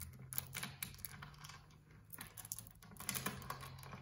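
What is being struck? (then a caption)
Metal security chain lock. A small metal security chain lock on a painted door, with a dark metal link chain and a metal slide track and knob, is handled by fingers. They grip and jiggle the chain, then slide and rattle the knob along the track. The result is a quick series of sharp metallic clinks and ticks over a low steady hum.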